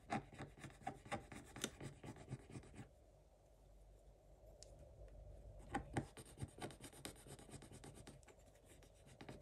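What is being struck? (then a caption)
Scratch-art paper page scraped with a wooden stick. A wooden stick scratches the black coating of a scratch-art page in a spiral notebook, making quick, dry scratching and rubbing strokes. The strokes are brisk and dense at first, ease into a softer, steady rub in the middle, then pick up again with sharper scratches toward the end.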